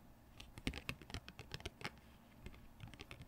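Glittery painted nails tap on the edges and face of a single thin glossy cardboard Pokémon trading card held between both hands. A quiet, irregular series of short, crisp clicks and ticks sounds, each with a bright high edge over a soft low thud, dying away almost at once.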